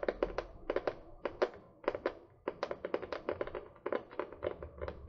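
Long painted fingernails tap and scratch a small spiral-bound notebook with a printed paper/card cover, held upright close to the mic. About 28 quick, dry, papery taps come in uneven bursts, each with a hollow midrange knock and almost no ring. Faint scratchy rustling fills the gaps between them.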